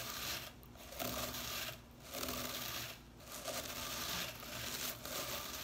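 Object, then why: Synthetic bristles of a small plastic whisk broom. Fingertips and nails flick and scratch the blue synthetic bristles of a small whisk broom with a white plastic handle lying on cloth. It makes a dense, bright, crackling rasp that swells in sustained bursts, separated by brief quieter dips.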